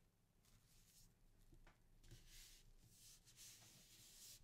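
Both flat palms rub firmly across a sheet of thin printing paper laid flat over an inked linoleum block on a table, burnishing the print. Repeated soft, bright swishing strokes blend into a steady, quiet rubbing hiss over a low background hum.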